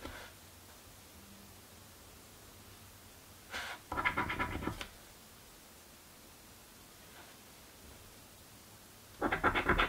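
A coin held in the fingers scrapes the coated areas of a thin card paper scratch-off lottery ticket lying on a table. Short bursts of gritty, bright scratching come around four seconds and again at the end, separated by long near-silent pauses.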